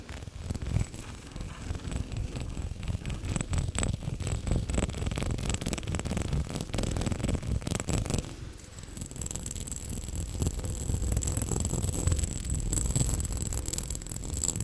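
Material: Glass.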